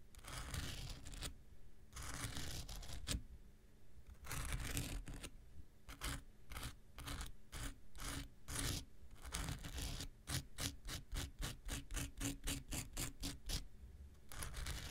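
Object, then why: Foam nail buffer block. A handheld pink rectangular nail buffer block, solid foam with an abrasive surface, is scratched with an X-Acto knife blade. Long, gritty scraping strokes with bright, hissy texture come first. They give way to quicker, rhythmic short scratches that speed up toward the end before a final longer scrape.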